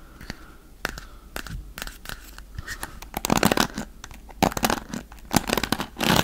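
A wooden paddle hairbrush with dark bristles is held beside the mic while fingers scratch across the bristles. Dry, crackling scratches come in short bursts over a faint hiss, growing louder and brighter in dense clusters through the second half.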